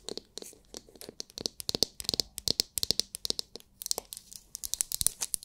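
Long nails scratch and tap the hard, clear, glitter-filled plastic dome of a palm-sized oval massage brush. The result is a rapid, uneven run of crisp, bright clicks and scratchy crackles. Each sound is dry and dies away almost instantly, with very little low end.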